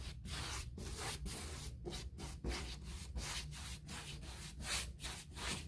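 A small bristle paint brush is scratched and rubbed by hand along the panel grooves of an upright white, textured, molded composite six-panel interior door, possibly hollow-core. The brush makes repeated dry, scratchy strokes, each a bright, hissy rasp separated by brief dips, over a steady low rumble.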